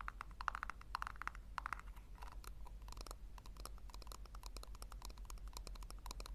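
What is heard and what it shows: Long nails tap rapidly on the base and sides of a small, hollow, round pink plastic tub held upside down. Quick, dry clicks with a hollow tone around 1.3 kHz, each dying away almost instantly, run over a steady low hum.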